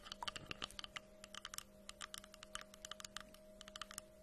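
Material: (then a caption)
Wood. Long nails tap and scratch quickly on the flat wooden face of a solid, round tree-trunk slice with a bark edge, held in front of a microphone. The result is a rapid, irregular series of short, bright, dry clicks that stop almost instantly, over a faint steady low hum.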